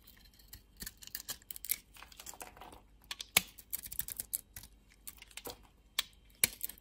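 A metal utility blade carves and scrapes a solid yellow bar of soap with a purple interior, held in the hand. Crisp, bright scraping and clicking cuts come in irregular bursts, with a few sharper snaps standing out, each dying away almost instantly.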